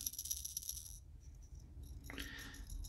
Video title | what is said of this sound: Making a Wooden Walk The Dog Lure | how much rattle you get out of that if i shake it back in front to back you don't get nearly as much